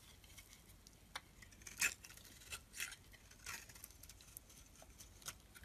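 A metal utility blade scrapes thin curls from the surface of a solid blue branded bar of soap held in the palm. Soft, dry, bright scraping strokes rise out of a quiet hiss, with a few louder rasping swells and short crisp ticks between them.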